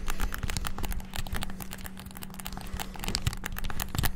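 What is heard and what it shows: Very rapid fingertip tapping on the buttons of a white and black hollow plastic PS5-style gamepad. It makes a dense stream of short, crisp plastic clicks with bright ticks over a low thumping body and a faint steady hum. The clicking stays busy throughout, softening slightly in the middle and swelling again toward the end.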